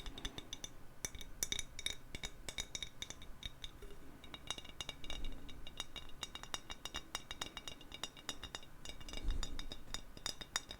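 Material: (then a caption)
Glass. A glass bottle is tapped quickly and lightly with fingers, giving a steady stream of bright, short clinks that ring only briefly. The taps come in uneven bursts over a soft, low background rumble.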